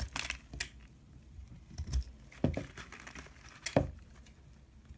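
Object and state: Bar of soap being scraped.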